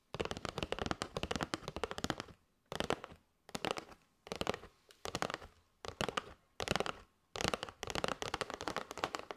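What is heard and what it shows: Long nails rapidly tap and scratch a flat kraft cardboard box with a clear plastic window, full of paper straws. Dense bursts of dry, crackly clicking and scraping with a bright edge come in quick runs separated by brief silences.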